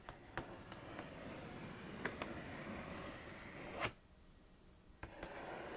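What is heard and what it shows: Long nails trace and scratch around the printed cereal bowl on the cardboard front of a Froot Loops cereal box. A steady, soft, papery scratching runs throughout, broken by several sharp clicks, with a louder swell just before 4 seconds. After that the scratching turns noticeably quieter.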